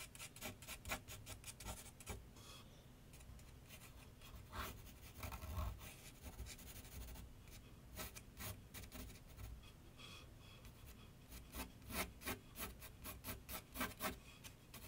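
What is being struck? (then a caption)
Graphite pencil on paper sheet over a drawing board. A graphite pencil rubs and scratches shading strokes on a large flat sheet of white paper laid on a board on an easel. Quick bursts of dry, bright scratching come in clusters at the start and end. A softer continuous rubbing fills the middle over a low background rumble.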